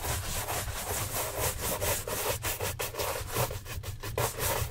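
Gloved hands quickly brush the upper of a hollow brown leather Santoni oxford shoe on a stand with a wooden-handled bristle shine brush. Rapid, raspy strokes rise and fall in a steady rhythm, with bright bristle hiss over a constant low rumble.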